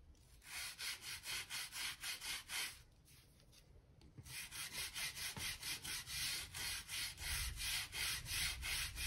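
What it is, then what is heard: Wooden floorboards being brushed. A blue-handled gap brush scrubs dirt and dust out of the seams between worn wooden floor planks. It makes quick, rhythmic, bright scratchy strokes, about three or four per second, with a brief quieter pause in the middle. The strokes grow slightly louder toward the end.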